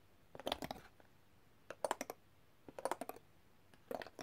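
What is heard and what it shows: A set of thin, solid, colorful coated metal extractor tools lying in an open black zip pouch is tapped rapidly with a metal tool. Four quick bursts of sharp, clicky taps ring briefly with a bright, metallic edge, separated by short pauses of quiet.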